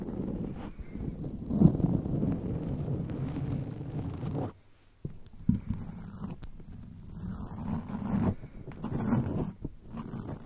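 Long acrylic nails on both hands scratch and rub a black foam microphone windscreen, giving a dense, muffled, low-pitched scraping and rustling with almost no high end. The rubbing runs steadily with a few louder swells, drops to near silence for about half a second around the middle, then resumes.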